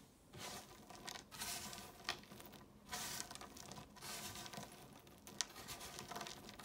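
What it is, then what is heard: Crumbling dry chalk pieces. Bare fingers dig into a pile of small, dry blue, green and red chalk flakes on a marble surface, squeezing and crumbling the pieces and letting them fall back onto the pile. Bright, gritty crunching and crackling comes in uneven bursts, with sharp snaps and a fine, sandy patter of falling bits in between.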